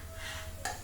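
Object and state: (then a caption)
Metal coin dropped. A metal coin is dropped onto the floor or a table and lands with a bright metallic clink near 0.65 s. The ringing tone fades quickly over a steady low hum. A second, fainter tap follows at the very end.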